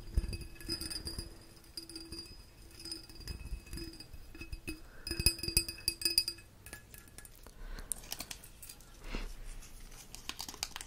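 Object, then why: Small ribbed glass figurine. A small, hollow, ribbed green glass mushroom figurine is held in the hand and tapped with the fingertips and nails. The result is a quick run of light, bright glassy clinks and soft clicks, each with a short high ring that fades almost at once. Rubbing and handling noise runs underneath.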